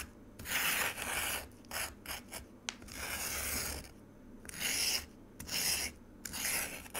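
A metal spoon scrapes the icy surface of frozen pomegranate juice in a white plastic container. The result is bursts of harsh, high-pitched rasping, some long and some short, separated by brief pauses.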